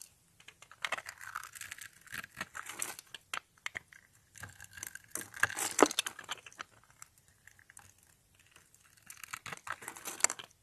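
A small red-handled cutter blade scrapes and cuts into a hand-held, dry, solid, palm-sized purple soap bar that is pre-scored in a grid, crumbling off small soap cubes. Bursts of dry, crisp crunching and crackling come in irregular clusters, bright and short with almost no ring, separated by brief quiet pauses.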